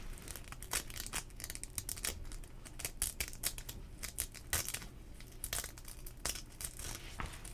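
The hook-and-loop strap on the sleeve cuff of a worn teal nylon rain jacket is pulled open and pinched closed by fingers. It makes repeated bright tearing rips and crinkles of the nylon over a low rumble.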